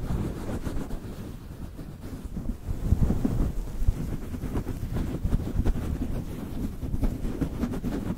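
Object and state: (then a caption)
Synthetic fur microphone windscreen being rubbed. Fingertips of both hands rub, scratch and squeeze a grey-white synthetic faux-fur windscreen covering a microphone head. The result is a continuous, dense, muffled rustling and scraping that sits almost entirely in the low end, with no bright high content and a steady, slightly swelling level throughout.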